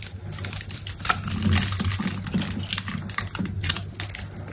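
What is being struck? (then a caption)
Bar of soap. A utility knife blade, held by a hand with long pink nails, cuts and scrapes a hand-sized solid green soap bar with a dark embossed coating into small cubes while the bar is held in the other hand. Rapid, dense, crisp clicks and scrapes follow one another like quick typing, with bright edges over a steady low hum. The soap is sliced into small cubes.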